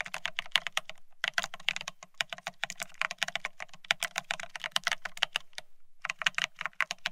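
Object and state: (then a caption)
Plastic ergonomic keyboard being typed on. Fingertips of both hands type fast on a full-size beige split ergonomic keyboard with plastic-looking keycaps. A rapid stream of short, bright plastic clicks has a faint low thump beneath each keystroke, with brief pauses near one second and just before six seconds.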